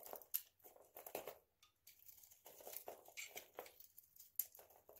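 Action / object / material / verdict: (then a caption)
scrape / bar of soap with a nail-polish coating, shaved with a blade / soap / none. A hand-sized, solid oval bar of dry soap coated in nail polish, with an orange-yellow polish rim, is held in the hand and shaved with a utility knife blade. The result is a quiet run of dry, crisp scraping and crunching strokes with bright crackle and almost no low end. Each stroke dies away at once, with short pauses between them.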